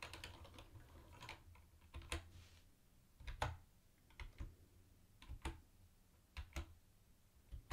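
Fingertips slowly press the keys and the space bar of a mint-green plastic retro keyboard with round white plastic keycaps. Soft, separated clicks with a low thuddy body and brief bright edges fade quickly over a quiet background.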